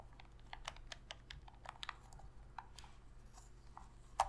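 Long fingernails tap rapidly on a hollow black plastic Sony PS3 controller, making light, bright clicks over a faint low hum. The controller is then turned over and its buttons are pressed, ending in one louder, sharper click.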